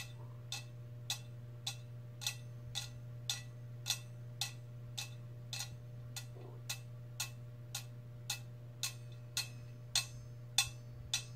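Long red fingernails tap a metal cup for ASMR, producing 20 sharp, bright clicks at a steady pace of about two per second. Each tap is brief with almost no ring, heard over a constant low hum.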